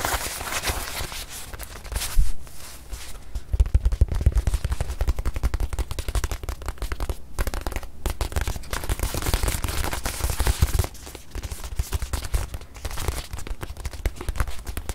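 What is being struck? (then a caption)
Small stuffed leather watch pillow. Long nails tap rapidly on the surface of a small stuffed white leather watch pillow held in one hand. The result is a dense, continuous stream of soft, low, muffled thumps with brief clicky edges. The tapping grows louder from about two seconds in and then eases somewhat in the last few seconds.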